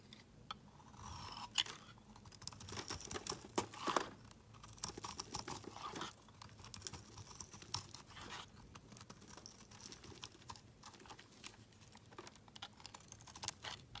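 A solid black Palmolive soap bar, held in the hand, is shaved and scraped with a utility knife blade, and the shavings curl off. The scraping makes dense, crisp, bright crackles and scratchy strokes that come in quick bursts. The strokes run continuously across the clip.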